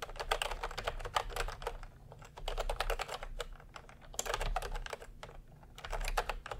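Fingertips type continuously on a plastic retro keyboard with round cream and pink keycaps. Rapid, dry, clicky keystrokes come in dense bursts separated by brief lulls, over a faint low hum.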